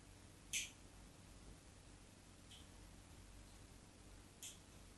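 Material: Soap.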